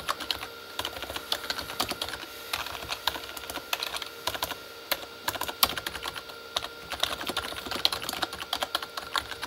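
Both hands type with fingertips on a full-size, hollow Corsair K35 backlit mechanical keyboard with plastic keycaps on a plastic body. The result is a steady stream of quick, bright, clacky plastic taps with short, dry decays and almost no low end, some keystrokes landing harder than others over a faint constant tone.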